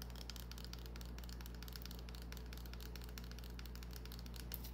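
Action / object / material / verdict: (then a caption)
scrape / small bar of soap / soap / none. Long nails scratch the surface of a small, solid green bar of soap held in the hand, making quiet, continuous crackly scratching with dense bright clicks. A steady low hum runs underneath throughout.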